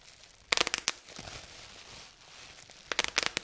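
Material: Plastic.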